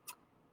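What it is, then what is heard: Hard cured epoxy resin coaster. A finished marbleized epoxy resin coaster, fully cured and hard, is tapped once. It gives a short, bright, glassy tick centered around 1 kHz with strong high-frequency content that dies away almost instantly. The clean, hard click shows the resin has cured solid.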